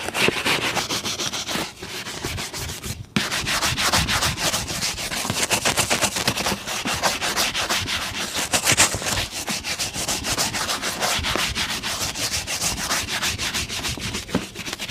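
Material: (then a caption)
Leather. A brown leather lace-up boot, worn on a foot and resting on a blue plastic stool, is brushed rapidly back and forth with a hand-held, wooden-handled bristle shoe brush. The result is a steady, bright, scratchy swishing at about three strokes per second, with a brief pause near the three-second mark.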